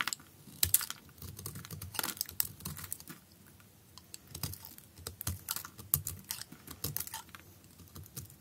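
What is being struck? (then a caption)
Perforated bar of soap. A utility knife blade shaves thin flakes from the surface of a solid blue perforated bar soap with drilled holes, held in hand. A steady run of short, crisp, bright scraping clicks with a faint low rustle underneath, each dying away almost instantly.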